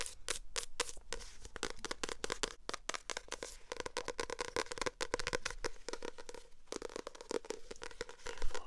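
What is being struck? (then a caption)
Paperback book with glossy paper cover. Long acrylic nails tap and scratch the glossy paper cover of a purple paperback book that is held up. A rapid, dense run of short, dry clicks and ticks mixes with bright scratchy rasps across the cover, with each tap dying away almost instantly.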